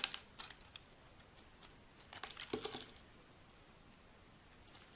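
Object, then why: Bar of soap shaved with a metal blade. A solid white rectangular bar of dry soap, held in the hand, is shaved into long strips with a metal blade. Quiet, bright, crisp scraping and crackling ticks come in short bursts, densest in the middle before settling into faint rustling.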